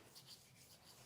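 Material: Wood veneer.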